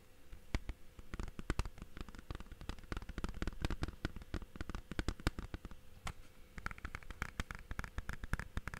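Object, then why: Plastic game case. A blue plastic Blu-ray/game case is held flat and tapped on its face and edges with fingertips and nails. Quick, dry clicks come in an irregular, rapid stream, each dying away almost instantly. The taps carry a dull low body, and a brighter, hollow tone stands out toward the end.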